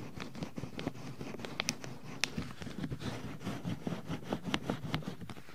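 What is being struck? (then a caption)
Silicone ear mold of a binaural microphone, rubbed by rubber-gloved hands. Hands in pink rubber gloves rub and massage the hollow white silicone ear molds on a black 3Dio binaural microphone. A steady, close, muffled rubbing with a low rumble is broken by many short, bright squeaks and crackling snaps as the gloves drag across the silicone.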